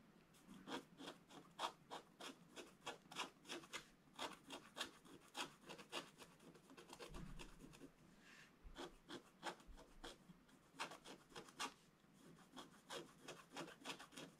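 A wooden stylus scratches detail lines into a flat, solid black-coated scratch-art paper card. The result is a quick run of short, dry, bright scratching strokes with a rasping texture, easing into softer, quieter scraping midway before the brisk strokes return.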